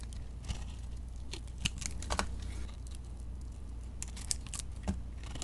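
A metal blade cuts and scrapes a solid, rounded soap lump held in hand, its glitter and bead coating covering a flaky beige interior. Crisp, dry crackles and short bright ticks come in irregular bursts, like crinkling or tearing, over a low, steady hum. Each snap is quiet and dies away almost instantly.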